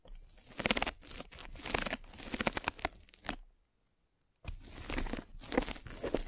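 A metal-spiked derma roller is rolled across a white polyethylene foam mesh net stretched over a microphone, making dense, crinkly, tearing crackles with bright hiss. The rolling comes in uneven bursts, goes silent for about a second, then resumes with the same crunchy texture.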